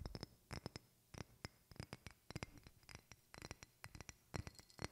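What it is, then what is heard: Small glass bottle tapped with fingernails. Fingertips and long red-painted nails tap and scratch a small clear glass bottle with a screw cap and decorative contents, held in one hand close to the microphone. An uneven run of short, crisp clicks, some hard and some soft, each with a brief bright glassy tick over a dull low knock, dies away almost instantly, with faint scratching between the taps.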